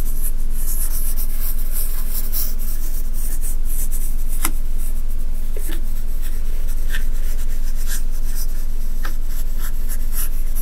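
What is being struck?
Fine sand in a shallow tray, raked with a wooden stick.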